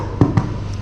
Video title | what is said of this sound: Pain de campagne les formes : le pain d’Aix et la tabatière pour le CAP boulanger... | L'important c'est que le bruit sonne creux. Donc là, c'est que le produit est bien cuit